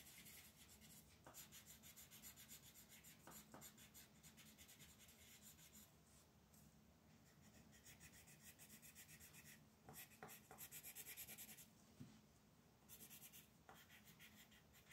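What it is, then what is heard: Colored pencil on paper. A magenta wooden colored pencil rubs across a flat white paper mandala coloring sheet resting on a table. Quiet, bright, scratchy strokes repeat in quick back-and-forth bursts, with a few soft ticks where the pencil lifts and lands again.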